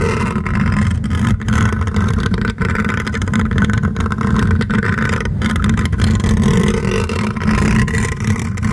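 Fingertips and short nails of one hand grip and scratch directly over the rounded, hollow wire-mesh metal grille of a large silver USB condenser microphone. The result is a dense, steady, engine-like rumble of scratching, heavy in the low end around 100 Hz with little brightness. It stays loud throughout, with only a few brief dips.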